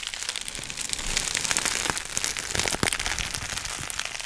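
A clear plastic sheet of air-filled bubble wrap is held in the hands while the fingers crumple it and pop its bubbles. The result is a steady, bright crinkling hiss broken by many sharp, quick pops and snaps that die away almost instantly.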